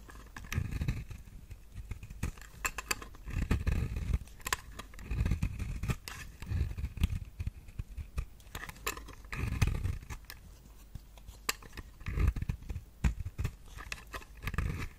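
A knife blade shaves curls off the surface of a solid round pink soap bar held in the hand, using repeated scraping strokes. Each stroke gives a soft, low, dull scrape dotted with sharp, bright crackles and clicks as the curls peel away.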